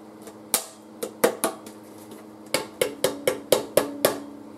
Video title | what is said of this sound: Repair of LG 42LW5700 TA, LED TV, Part 2 | hear that ring it means it's pressurized